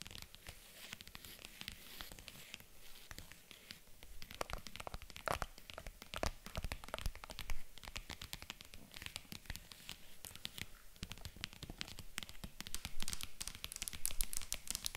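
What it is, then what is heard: Faux leather jewelry case tapped and scratched with nails. Long nails tap and scratch across the top of a hollow, white zippered faux leather jewelry case resting on a table. A dense, continuous stream of quick, dry clicks and rasping scrapes with a bright, crinkly texture, each tap dying away almost instantly. The sound stays quiet and fairly even, with occasional slightly sharper taps.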